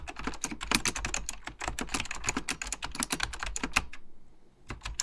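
Fingertips type rapidly on an Apple Extended Keyboard II, a plastic mechanical computer keyboard with beige plastic keycaps and a hollow plastic case. Dense, bright, clacky key taps run over a steady low hum, then pause briefly near the four-second mark before a few more taps resume at the end.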